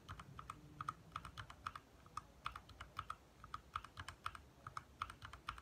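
Fingertips of both hands type fast on a compact 60% backlit mechanical keyboard with lit plastic keycaps. The taps are quick, crisp clicks centered around 1.2 kHz with short high ticks, each dying away almost at once. They fall in a steady, uneven rhythm over a quiet low hum.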